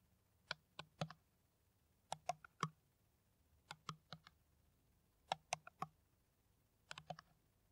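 An empty, hollow, clear ridged PET water bottle with a white cap is tapped with the long nails of both hands. About 19 quick, dry clicks come in five short bursts, each with a faint hollow thump underneath. The taps die away almost instantly between quiet pauses.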